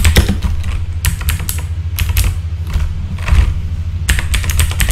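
Fingertips type on a full-size backlit mechanical keyboard with plastic keycaps, producing a steady run of short, bright clacks. The keystrokes come in quick bursts with brief pauses over a constant low hum that dominates the sound.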